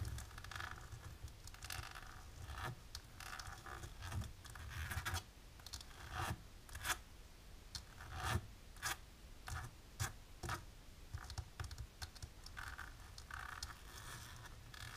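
Long polished nails on both hands rapidly tap and scratch thin, dark embossed plastic film laid flat on a table. The result is a steady, crisp, bright scratching and rasping texture broken by short, sharp taps, with a soft low rumble underneath.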